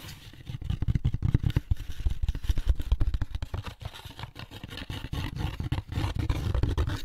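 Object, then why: Molded paper pulp egg carton. Fingertips and nails scratch the rough inside of the lid of an opened, empty molded paper pulp egg carton. The result is a dense, continuous run of quick, irregular scraping strokes with a deep, muffled, rumbling texture. It starts softly and builds to a steady level.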